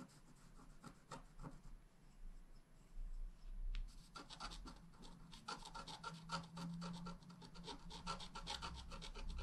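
A wooden stylus scratches short upward strokes into the coating of a flat black wax-coated scratch art card. The result is a rapid series of dry, bright rasping scrapes over a low, steady background hum. The strokes pause briefly near the start, then return denser and louder toward the end.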